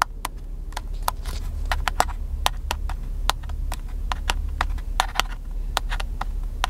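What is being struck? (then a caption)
Plastic camcorder body. A small black handheld video camcorder with a hollow plastic body is held in one hand and tapped with the fingertips of the other. The result is a steady run of short, dry clicky taps with a bright edge, over a constant low hum.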